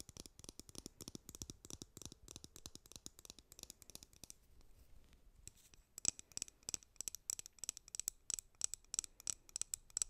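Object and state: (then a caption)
Plastic hairbrush, tapped and bristles scratched. A white plastic hairbrush with a printed back and hollow handle is tapped on its back and its bristles are scratched with long nails. Quick, bright, dry clicks and scratchy rustles run throughout, softening briefly near the middle before sharper, louder taps return with a faint high ring.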